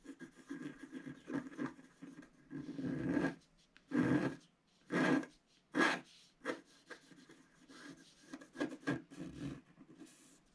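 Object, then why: Coated scratch art paper card scraped with a wooden stylus. A wooden stylus scratches the black coating off a flat, solid scratch art card of about A4 size, with coloured foil paper underneath, lying on a table, clearing larger areas. Dry, raspy scraping strokes come in irregular bursts, some short and quick, others longer and louder, with a papery hiss reaching bright.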